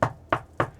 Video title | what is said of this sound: NEW Swift Caravan Ranges 2026: Return of the Conqueror | I'll give it a tap so you can hear that is a solid finish on there.